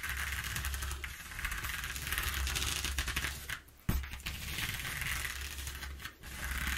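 Long painted nails scratch and tap rapidly across the exposed ridges of a flat sheet of brown corrugated cardboard with some torn spots, lying on a wooden table. The result is a dense, bright, ratcheting rasp over a steady low hum, briefly fading near the middle before a sharp tap restarts the scratching, with another short lull near the end.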